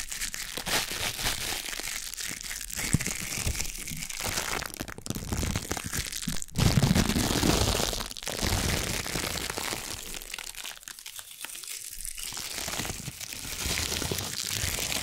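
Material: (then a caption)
Plastic. Small wads of thin, clear, crumpled plastic packaging film are held in the hands and crinkled and crushed with the fingers. A dense, steady stream of sharp crackles and crunchy rustles runs throughout the clip, with bright high-end hiss. A louder crushing swell comes around the middle.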